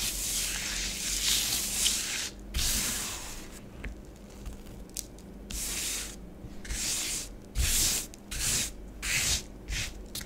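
Long nails scratch and rub curved patterns into orange bath bomb powder spread on a grey plastic tray. Soft, bright, hissy scraping comes in uneven strokes, some longer and some short, with brief pauses between them over a faint low hum.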